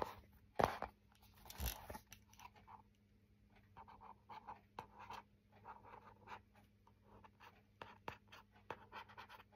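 Fingernails scratch the front and back surfaces of a printed, laminated hardboard clipboard with a metal clip. Two sharper, louder strokes come near the start, followed by a run of soft, dry scratches with a faint steady hum underneath.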